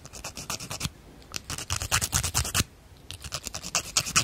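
A small hand-held emery or cardboard nail file is rubbed back and forth across a natural fingernail in steady filing strokes. Each stroke makes a bright, dry rasping scrape, coming in quick bursts of strokes with two short pauses between groups.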